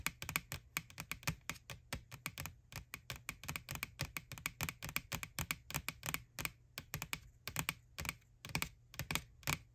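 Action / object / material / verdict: tap / plastic Halloween bucket / plastic / none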